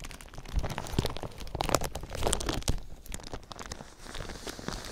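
A thin clear plastic sheet wrapped over a microphone is crinkled with fingertips. The result is a dense run of crackling, crunchy crinkles, with sharp snaps and a low rumble underneath. Bright high crackle comes through at moments.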